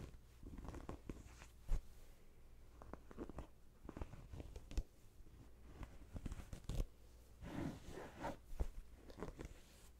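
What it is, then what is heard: Fabric throw pillow. A small stuffed throw pillow with a printed cotton-like cover and stitched edge is held close and scratched with long painted nails, and its edge seam is rubbed between the fingers. The result is soft, dry scratching and rustling with short crunchy taps and a few sharper peaks over a low, quiet background.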